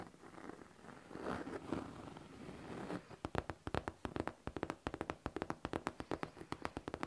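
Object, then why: Faux leather backpack panel. Long teal nails scratch across the top panel of a pink faux leather backpack near the zipper, making a soft, hushed rubbing for the first few seconds. They then tap the same spot in a quick, steady run of short, crisp clicks that die away almost instantly.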